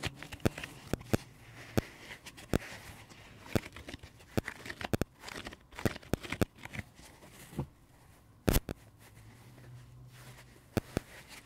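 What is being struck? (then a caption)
Porous foam sponge. A dry pink porous foam sponge is held in the hands and squeezed and scratched with the fingertips and thumbs. It makes a steady run of sharp, dry crackling clicks and scratchy crinkles, with quieter rustling between the louder snaps.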